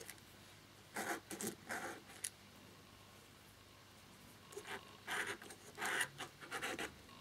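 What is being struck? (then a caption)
Plastic laptop keyboard. Fingers and a cotton swab rub and scratch at the exposed key mechanism of a black plastic laptop keyboard with one keycap removed, and at the nearby keys, while cleaning it. Short, bright, breathy scraping bursts come in two clusters separated by a quiet pause, with a small click near the end of the first cluster.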